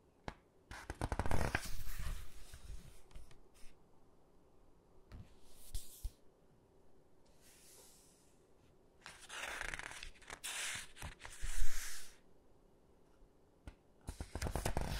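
Fingertips and nails grip, squeeze and turn the glossy pages of a large hardcover photo book. Bursts of papery rustling and crinkling, with soft taps and low thumps, are separated by quiet pauses.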